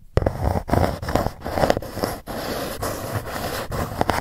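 Long nails scratch and tap across the lid of a dark Gucci cardboard gift box. The sound is a dull, papery rasp, weighted low, broken by soft taps and brief silent pauses, with little high brightness.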